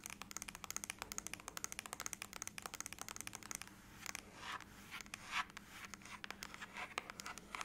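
Long acrylic nails tap rapidly on the lid of a closed silver aluminum laptop lying flat, making a quick run of sharp, bright clicks. Then they scratch across the metal surface in longer, hissing scrapes mixed with a few more taps.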